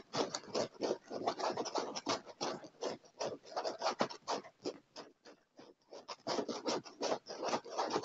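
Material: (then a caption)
Leather. Short fingernails scratch and rub the surface of a dark padded leather chair armrest. Rapid, irregular bursts of dry, rasping friction noise sit mostly in the mids, with brief pauses between strokes and a short lull midway through.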